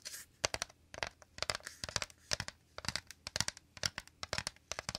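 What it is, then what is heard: Woven bamboo basket. Fingertips and nails tap and scratch quickly on the woven inner surface of a shallow, empty, round bamboo/wicker basket held close to the mic. Many rapid, dry, crisp clicks and scratchy rustles sound in uneven bursts, mostly bright with little low end and almost no ring.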